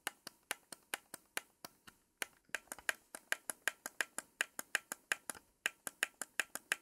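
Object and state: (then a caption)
Plastic game controller. Long pink acrylic nails tap and click the buttons, D-pad and shoulder triggers of a blue, hand-sized Xbox Series X controller with a hollow plastic shell and thumbsticks. About 32 sharp, bright, dry clicks arrive in a steady rhythm, each dying away almost instantly with no low end, with short pauses near 2 and 5.6 seconds.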